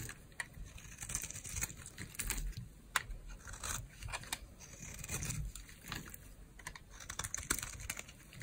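A metal blade shaves crunchy flakes off an orange, solid, dry bar of soap held in the palm. The clip is a quick run of crisp, bright scraping crunches with short, dry transients and a soft low rumble underneath.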